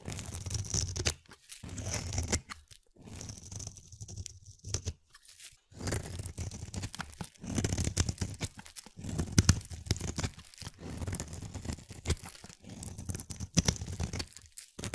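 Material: Glycerin soap.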